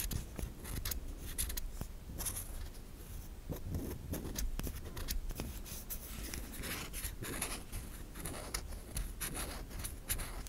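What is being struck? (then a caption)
Solid soap bar. Long nails scrape flakes off the surface and edge of a white solid soap bar, producing a steady run of dry, crisp scratching strokes with bright, hissy tops over a low rumble. The strokes come in quick, short bursts that blur together, with a few sharper clicks standing out.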